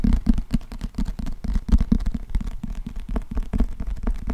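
Fingernails tap and scratch the glossy cardboard cover of a closed, thick, solid paperback book held in both hands close to the microphone. A rapid, steady run of short, dull, low-pitched taps blends with soft scratching. Each tap dies away almost at once.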